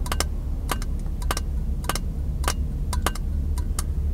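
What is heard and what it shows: Fingertips and nails tap on a small, empty, hollow clear glass jar held in both hands. The taps come as quick, bright clicks in an irregular rhythm, each dying away almost at once. A steady low rumble sits underneath throughout.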